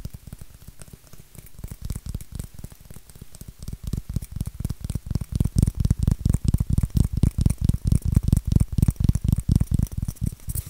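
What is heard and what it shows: Fingernails scratch and rub a white styrofoam shape with a rounded end, making rapid, uneven strokes. Each stroke is a short, dry, dull scrape with a low, muffled body and almost no ring. The strokes grow louder and denser partway through and keep going to the end.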